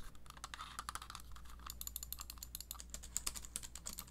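Long nails tap and click rapidly on the shell and buttons of a small, hollow, black wired plastic gaming mouse held in one hand. The quiet, dry clicks are sharp and bright, with no ring, over a steady low hum throughout.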